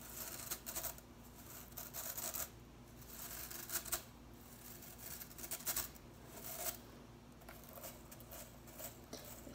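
Fingers rapidly flick and strum the tips of blue plastic broom bristles held above a table. Quiet clusters of crisp, bright ticking and scratchy rustling come in short bursts with brief pauses between them, over a faint low background hum.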